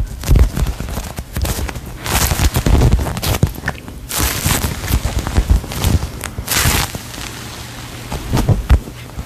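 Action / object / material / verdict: tap / polyurethane foam squishy toy / polyurethane foam / none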